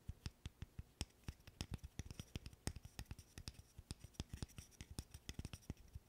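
A small, solid wooden burr puzzle of light-wood interlocking sticks is held in both hands while fingernails scratch and tap on it. A quick, irregular stream of short, dry wooden clicks and taps sounds over a soft scratching rustle, each tap cut off with almost no ring.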